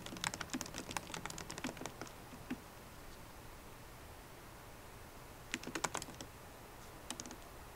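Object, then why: Laptop keyboard, plastic keys in a metal case. Fast typing with long nails and fingertips on a MacBook Pro keyboard, with plastic keycaps set in an aluminum body. Quick, bright clicking taps come in a dense run for about two and a half seconds, then a quiet pause. A second short flurry follows, then a few final taps near the end.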